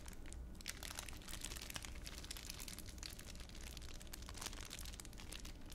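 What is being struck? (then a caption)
Thin plastic wrapper. A thin, clear plastic wrapper is squeezed and crushed by fingers in a cupped hand. It makes dense, continuous crinkling and crackling with bright, sharp snaps over a steady low rumble, at a quiet, even level throughout.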